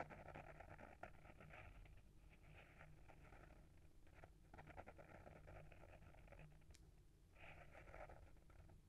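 Short fingernails scratch the front of a small, solid hardcover book with a paper-wrapped board cover, held in the hand. The result is a quiet, continuous papery scratching in bursts, with a steady low rumble underneath and a brief bright tick near the end.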